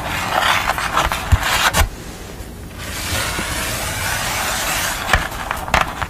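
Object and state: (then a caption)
Card drawing board scratched and tapped. Long nails scratch and tap across a pastel portrait drawn on a thin, flat sheet of brown paper or card board. A steady, bright, crisp scratching hiss is broken by several sharp taps. Midway through there is a brief, quieter, softer stretch before the scratching picks up again.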